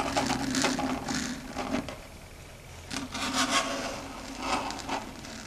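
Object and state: Chalkboard scratched with fingernails.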